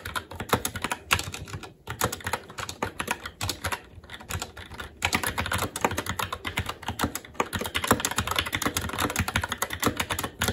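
A SteelSeries Apex 7 TKL mechanical keyboard with plastic keycaps on a metal top plate and Red linear switches is typed on continuously and quickly with the fingertips of both hands. The clip is a dense stream of short, crisp plastic clacks with a bright top and a little low thump, with brief pauses near the second and fifth seconds before the pace picks back up.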